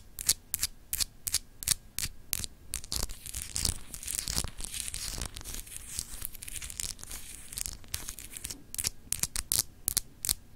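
Long acrylic nails scratch across a small, solid, clear glass globe paperweight with an etched texture. Quick, bright, rasping scrapes come in irregular bursts, blurring into a steadier scratchy rustle through the middle before short sharp strokes return. Each scrape stops dead with no ring.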